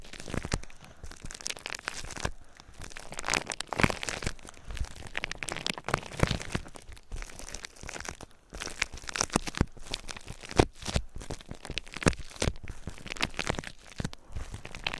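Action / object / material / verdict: scrape / plastic bubble wrap / plastic / none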